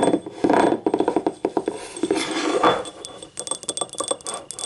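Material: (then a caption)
Ceramic. Long nails tap and scratch the rim and ribbed sides of a small, hollow, empty yellow ribbed ceramic cup. A quick, uneven run of short, clicky taps with a light, glassy ring around 320 Hz is mixed with softer scraping rasps, mostly in the mid range. Each tap dies away almost at once.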